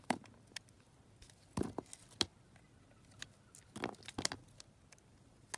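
A metal knife carves and scrapes thin slices off a hand-sized solid soap bar, yellow with a purple glitter layer, held in a hand with long red-black nails. Twelve soft, bright, crisp scrapes and crunches come at irregular intervals over a quiet background, each dying away at once.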